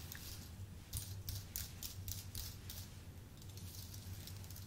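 Fingertips type on a full-size white Apple Magic Keyboard with an aluminium base and plastic keys, pressing keys in a steady run. Soft, bright clicking taps come in short clusters over a constant low hum. Each tap decays quickly.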